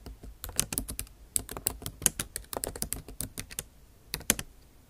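Long acrylic nail tips type on the bare plastic keys of a MacBook Pro backlit keyboard set in an aluminum body. Irregular runs of short, bright clicks and taps come in quick bursts, with brief pauses and a final cluster near the end.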